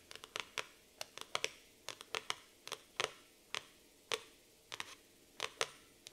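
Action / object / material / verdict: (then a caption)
tap / laminated cardboard notebook cover / cardboard / none. Long nail tips tap rapidly on the laminated cardboard cover of a black floral hardcover notebook. About twenty sharp, bright clicks land in quick, uneven clusters, each dying away almost at once against a quiet background.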